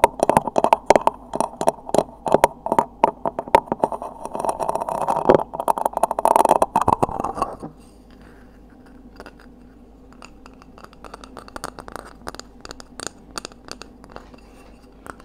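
Seashells are tapped in rapid, dense bursts of short, dry clicks with a midrange tone around 600 Hz for about the first seven and a half seconds. The tapping then drops to a much quieter, sparser run of soft taps and light scratching until the end.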